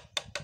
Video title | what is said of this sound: Penyebab Bunyi Kasar pada Mesin Supra -- ini Solusi yang tepat!!! | diketok dari atas ni sangat nyaring artinya bagian stang seernya udah parah